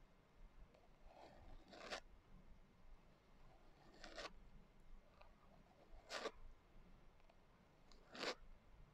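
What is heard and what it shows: Long nails slowly scratch the coarse glitter cover of a closed hardcover journal. Four bright, gritty scrapes stand out clearly at roughly two-second intervals, with fainter rasping between them over a quiet low hiss.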